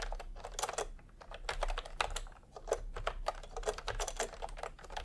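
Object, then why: Plastic keyboard with round keycaps. A full-size pastel plastic retro keyboard with round plastic typewriter-style keycaps, resting on white fabric, is typed on quickly by the bare fingertips of both hands. Fast, overlapping clicks and clacks come in an uneven stream with short, dry decay and a low steady hum underneath.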